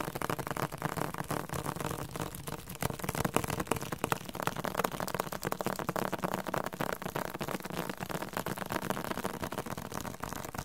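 Fingertips tap rapidly on the glossy paper softcover of a thick, solid yellow-green Spanish-Korean dictionary. The taps come in a dense, uneven stream of short, dull, papery knocks that die away almost instantly.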